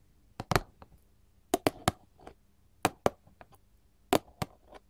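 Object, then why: Paperboard candy box tapped with metal finger claws. A small, flat, printed paperboard chocolate box, held upright and likely hollow and closed, is tapped and scratched with long gold filigree metal finger-claw jewelry. Sharp, dry, hollow clicks arrive in loose clusters of two or three, with a papery midrange knock near 570 Hz and a bright metallic tick from the claws. Softer scratchy strokes fall between the taps, and each hit dies away almost at once.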